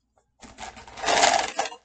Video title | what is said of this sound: Wed 3/17/21 Circle | if i shake it it's pretty loud right it's hard